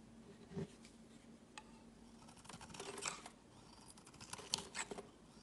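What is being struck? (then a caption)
Bar of soap scraped with a metal blade. A palm-sized, solid light-blue bar of soap, held in the hand and first pressed on a woven mat, is shaved and scraped with a metal utility-knife blade. Short, bright scraping and crisp ticking strokes come through a quiet background, with a soft low thump near the start. Blue curls of soap fall away as it is cut.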